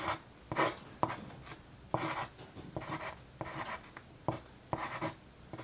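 A sharpened yellow wooden graphite pencil, held by the fingertips, scratches across a single flat sheet of white paper on a desk in steady writing strokes. About ten short, dry, scratchy strokes are heard, each a brief bright rasp centered near 1 kHz that stops almost at once, with quiet gaps between them.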